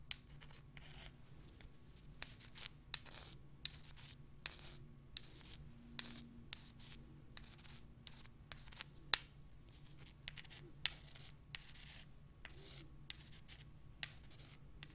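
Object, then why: Small limestone rocks. Several small pale limestone rocks are held in the hands while long nails scratch them and the rocks are rubbed together. The result is quiet, bright, dry scratching and rubbing with about eighteen short, sharp clicks at irregular intervals over a faint low hum.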